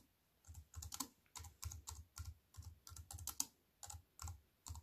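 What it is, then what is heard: Plastic computer keyboard with metal frame. Fingertips with long white nails type on a compact keyboard with black plastic keys set in a silver aluminium frame. The result is a quick, irregular run of short taps, each pairing a soft low thump with a bright, crisp click that dies away almost instantly.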